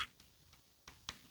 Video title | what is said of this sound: mainan MAHAL karena HANTU!? The Invincible Iron Man Ghost Edition - 3A Ashleywood/UNBOXING(MISB) | Ini gue ketok-ketok suaranya seperti itu. Ini kayak plastik gitu, layer-layer of plastics.